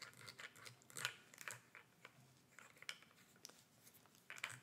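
Long red nails tap and scratch the sides and black screw cap of a small, hollow clear plastic bottle with a gray label, held upright in the hands. The result is a quiet run of crisp, bright clicks and crinkly scratches that die away almost instantly, with a few sharper taps standing out.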